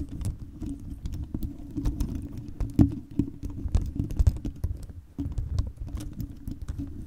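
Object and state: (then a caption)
Plastic beads on a microphone cover tapped and scratched with nails. Long chrome nails tap and scratch a fist-sized round microphone cover studded with many clear hollow plastic beads. The result is a dense, steady patter of quick, dry clicks and scrapes over a low rumble, with a brief drop in level just after five seconds before the tapping resumes.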